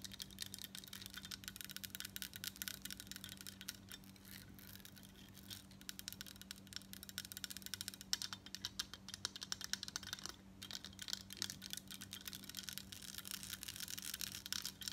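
Long coral nails tap fast across the embossed surface of a large crescent gold-tone metal statement necklace, a thin solid plate worn on the chest. The result is a quiet, dense stream of bright, dry clicks with almost no ring, over a faint steady low hum.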